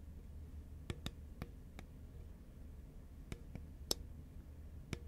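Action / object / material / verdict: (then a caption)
tap / paperboard chip tube with metal base / paperboard / none. A green Pringles can, a hollow paperboard tube with a metal base and foil-lined lid, is held horizontally and tapped with long nails and fingertips. Quiet, sharp clicking taps sound out one at a time, each dying almost instantly, over a low, steady background hum.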